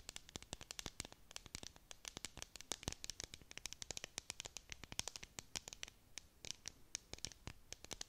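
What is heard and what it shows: Long nails scratch up and down the sides of a clear hollow plastic tumbler cup with a dome lid and decorative contents. A rapid run of quiet, sharp, bright scratching clicks with very short decay fills the clip.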